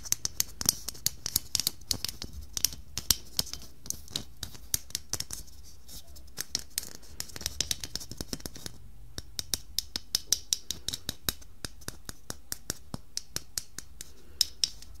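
Long painted nails tap and scratch the surface of a medium, hollow red glitter plastic Christmas bauble with a silver glitter lattice, resting in a tinsel wreath. Dozens of quick, sharp, bright clicks and scratches run throughout, each dying away almost instantly over a faint low hum.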